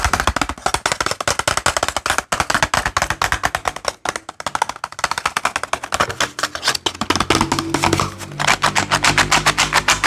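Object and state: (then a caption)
Cardboard box of metal paper clips. A small cardboard box full of metal paper clips is tapped with fingernails, then shaken so the clips rattle inside, making a dense stream of rapid, bright clicks and crackles. Steady low tones enter during the second half beneath the rattling.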